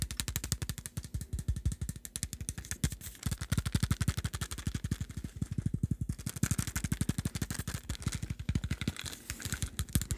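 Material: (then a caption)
Plastic. A small dark plastic supplement pill bottle with a screw cap, held in both hands, is tapped and scratched rapidly with the fingertips. The result is a dense, fast, slightly uneven stream of short, dry, low-pitched taps with hollow thuds and a faint bright scratchy hiss over ten seconds.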